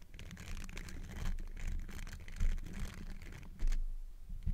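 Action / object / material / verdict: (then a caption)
scrape / metal mesh microphone grille / metal mesh / none. Fingertips wearing textured silicone finger covers scratch and rub the hollow metal mesh grille of a large black Blue Yeti-style microphone. The sound is a steady, uneven rasping and scratching with a heavy low rumble and faint bright grit, broken by a few louder swells.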